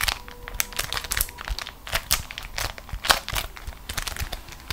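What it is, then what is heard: Beeswax-coated cotton food wrap being crumpled. A single beeswax-coated cotton food wrap, crumpled into a fist-sized ball, is squeezed and crinkled between both hands with long acrylic nails. It gives dense, bright crinkling and crackling with sharp, sticky crunches in quick irregular bursts, each dying away almost at once.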